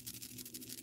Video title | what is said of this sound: Buggy Wrist Rattles - an Annie's Crochet Tutorial | if you shake them, you can hear they rattle